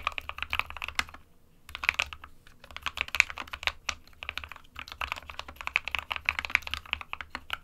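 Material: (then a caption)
Plastic. Both hands type with their fingertips on an SK61 small 60% mechanical keyboard with a white plastic case and plastic keycaps, resting on a printed desk mat. Rapid, bright, short plastic key taps run in quick bursts, with a brief pause near the start and short gaps between runs, over a faint low hum.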